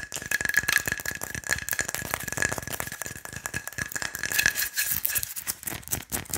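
Fingernails tap fast on the body of a hollow wooden pilón mortar. Rapid, dry, rattling clicks run in dense bursts with a bright edge, a faint steady tone near 1.7 kHz underneath, and almost no ring between taps.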